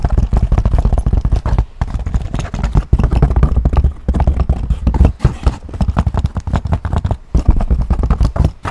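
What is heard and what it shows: Fingernails scratch and tap across the back and front surfaces of a tan leather handbag. The result is a dense run of dull, low, thumping taps and rough scratching with very quick decay, broken by a few brief pauses.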